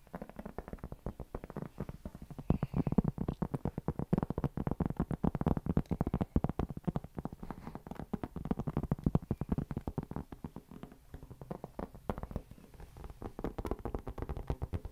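A round, flat, solid cork board or trivet about the size of a plate is held close to the mic and scratched and tapped with fingertips and nails. The result is a dense, rapid stream of short, dry, low-pitched taps and scratches with almost no ring. Most of the sound sits in the lows.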